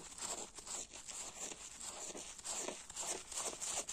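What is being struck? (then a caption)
Wet foam kitchen sponge. A hand-sized yellow porous foam kitchen sponge, soaked and covered in soapy foam, is held over a grey plastic basin and scratched and rubbed with fingernails and fingertips. The result is a continuous, bright, zipper-like scratching that rises and falls in short strokes, with very little low end.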